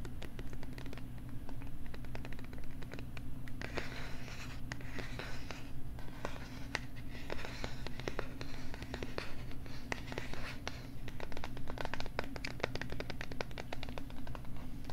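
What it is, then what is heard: Plastic LCD writing tablet. Fingertips tap rapidly across the surface of a small pink plastic LCD writing tablet held against the mic, making quick, dry clicks and light scratchy ticks with almost no ring. A steady low hum sits underneath the whole time.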